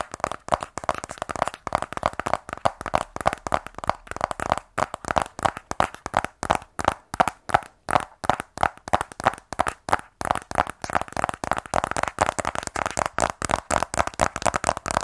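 A small, sealed black rigid cardboard iPhone 12 Pro box, hollow and presumably holding the phone, is held in both hands and tapped and scratched with medium-length fingernails. Quick, dry, hollow clicks come in a rapid, uneven stream, with a papery scratch between them. Each tap is centered around 500 Hz to 2 kHz and dies out almost instantly.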